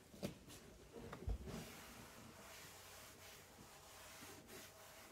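A hand-held cloth rubs across a flat white melamine-coated particleboard shelf inside an open cabinet. Two soft bumps stand out in the first second and a half, then a steady, breathy swishing continues with a faint low hum underneath.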